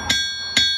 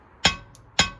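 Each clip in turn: First: ringing forged steel anvil. Second: duller cast anvil.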